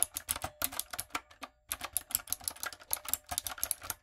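Long coffin nails and fingertips type on a backlit, hollow-bodied plastic typewriter-style mechanical keyboard with round retro plastic keycaps. About 23 sharp, bright, clacky keystrokes come in quick bursts with a brief pause near the middle, each dying away almost instantly with little low end.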